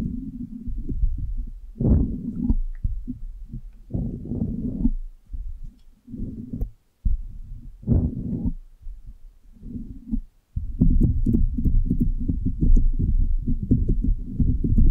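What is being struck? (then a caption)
Soft rubber stress ball. A single small, solid, pink soft rubber brain-shaped stress ball is held over the microphone and squeezed and rubbed with long painted nails and fingertips. This makes deep, muffled squishing and rubbing thumps, almost entirely low in pitch, in uneven bursts separated by brief silences. The final third becomes a dense, steady stream of crackly rubbing.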